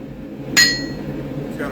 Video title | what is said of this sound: blacksmithing a knights templar sword. part 1 | that's the sound of my hammer my hammer hitting my anvil you hear that it's got a ring